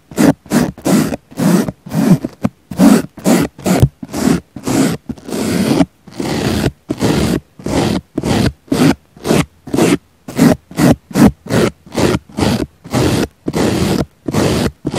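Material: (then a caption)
Foam. A small black brush sweeps repeatedly over the surface of a round, solid, soft pink foam sponge. It makes a steady series of short, separate scratchy scraping strokes with a low-pitched body and quick fades between them.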